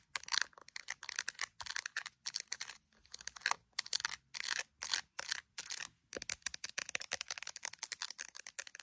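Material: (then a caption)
Plastic. Long acrylic nails tap and scratch the glass camera lenses and case edge of an iPhone in a clear plastic case decorated with resin gummy bears. Quick bursts of sharp, bright clicks and ticks come in rapid clusters separated by brief silences. Each click is dry and short with no ring.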